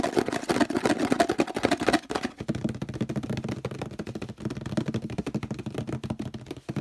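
Fingertips tap quickly on the base and sides of a hollow orange plastic detergent bottle, producing a dense, rapid patter of short, dry, hollow knocks with a low-mid body. The tapping is louder and fuller for the first two seconds, then continues slightly softer and duller to the end.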